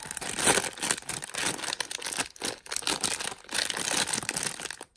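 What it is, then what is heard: Plastic polybag. A thin, flexible, hand-sized printed LEGO City plastic bag filled with loose bricks is held in both hands and crinkled and squeezed with the fingers. Dense, bright crinkling comes in bursts with short quieter gaps, carrying little low end, and stops briefly near the end.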